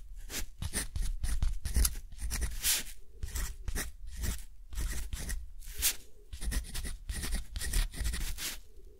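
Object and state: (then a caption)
Rough cotton paper scratched by a metal pen nib. A metal dip-pen nib is drawn across a thick, rough-textured cotton paper sheet lying flat, writing in close-up. Short, bright scratchy strokes follow one another in quick bursts with brief pauses, each rasping over the grainy surface above a soft low thump of the pen's contact.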